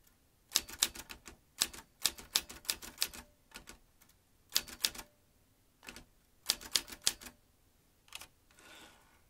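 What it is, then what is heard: Metal manual typewriter typing. Fingertips press the keys of a vintage metal manual typewriter, producing bursts of sharp, bright mechanical clacks as the typebars strike. The irregular bursts are separated by brief pauses, and the clip ends with a softer, breathy rustle.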